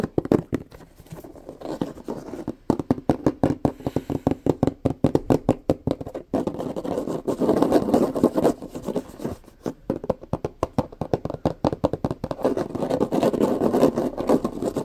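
A hand-sized, hollow, apparently empty purple plastic food storage container with a textured hexagon-pattern lid is tapped and scratched with fingertips and short nails. Dry, hollow clicks and taps in the low-mid range come in quick bursts and slower spaced runs, with very short decay. Denser scratching stretches blend into a continuous rustle.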